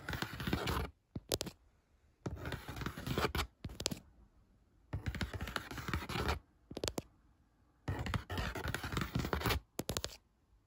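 Fingernails tap and scratch the top surface of a flat brown corrugated cardboard box or mailer lying on a bed. Four bursts of rapid, dry, papery scratching alternate with short clusters of quick taps, separated by near-silent pauses. Each sound is crisp and dies away at once with no ring.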